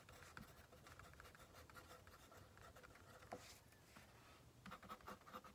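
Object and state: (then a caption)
Paper written on with a mechanical pencil. A pink plastic mechanical pencil, held in the right hand, scratches and writes on the top sheet of a stack of white paper on a wooden table while the left fingertips hold the paper in place. The result is a quiet, steady, dry scratching with a faint tonal edge. Brief taps are scattered through it, and a cluster of slightly louder, crisper strokes comes near the end.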